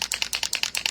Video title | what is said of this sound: Fashion DIY: White Jeans + Easton Tooled Leather Foil | it's a rattle can. You want to really hear that shake.